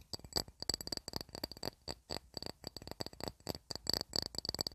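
A glass plate, used as a candle holder or coaster to keep wax stains off a wooden TV cabinet, is tapped in a quick, uneven run of light taps. Each tap gives a bright, high glassy clink that dies away almost instantly.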